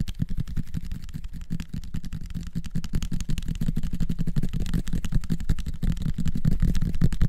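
Fingertips tap rapidly on a small bottle of dark liquid with a red plastic screw cap and a white label, held close to the recorder. The result is a dense, uneven stream of soft, dull, low thuds with almost no ring, steady in level across the clip.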